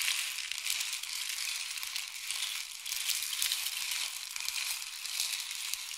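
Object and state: Rain stick.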